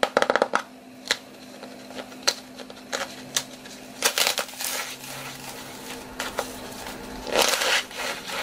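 A hand-sized, flat, painted piece of dry floral foam shaped like a pizza slice is held in both hands while fingertips with long dark-painted nails squeeze and break it. It gives a series of sharp, bright, dry crunches and crackles, with a dense flurry at the start and louder bursts later. The foam crumbles into green bits over loose crumbs.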